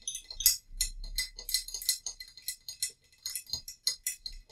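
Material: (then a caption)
Ceramic. A small, hollow, painted terracotta-colored ceramic vase holding dried lavender is held in both hands and tapped with long nails. A quick, uneven run of bright, clicky taps rings only briefly, with a thin high-pitched clink and little low end.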